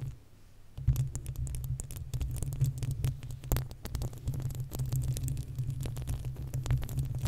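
Long acrylic nails of both hands scratch the uncovered, hollow metal mesh grille of a desktop condenser microphone. After a quiet opening second, a dense, continuous run of rapid scratching sets in, heard as a heavy low throbbing rumble with sharp clicks and bright crackles on top.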